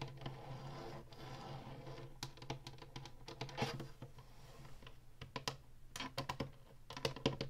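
Long nails tap and scratch the ridged top and button panel of a hollow plastic Atari retro game console while hands hold its sides. Quick, dry clicks and scrapes come in uneven bursts over a steady low hum.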